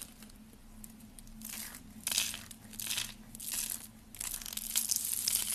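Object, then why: Dry soap curls. Rolled pink and green dry soap curls, hollow and brittle, are crushed between fingers with dark nails into flakes. Bright, dry crackling and crunching comes in bursts that build and fade, louder toward the end, over a faint low hum.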